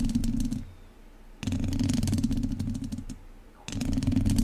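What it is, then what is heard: Metal mesh microphone grille scratched with chopsticks. The tips of two wooden chopsticks scratch the lower sides and top of a hollow metal mesh microphone grille, making rapid, uneven scratching and ticking with a strong low, hollow tone. It comes in three bursts with quieter gaps between them.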